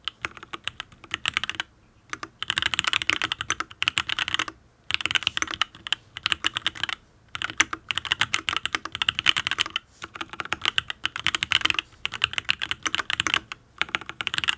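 Fingertips type on a full-size Matrix Ablex Penpen custom mechanical keyboard with an aluminium case, ABS keycaps and linear Tealios V2 switches. Rapid, bright, dry key clacks come in fast bursts separated by brief pauses, with almost no low end and no ring after each stroke.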